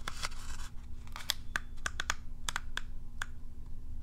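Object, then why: Plastic groomer brush with plastic bristles. Long nails strum and scratch across the dense field of plastic bristles on a curved plastic cat self-groomer brush held in the hand. It makes a series of quick, dry, bright plucks and scratchy rasps, with each flick cutting off almost at once. A steady low hum runs underneath.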